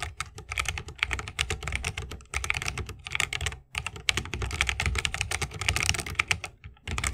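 Fingertips of both hands type fast on a 60% mechanical keyboard with plastic keycaps on Holy Panda tactile switches, set in a solid bamboo wooden case with RGB lighting and resting on a wrist rest. A dense run of bright, crisp clacks with a low thock beneath each press pours out, broken by brief pauses near 2.3, 3.7 and 6.6 seconds.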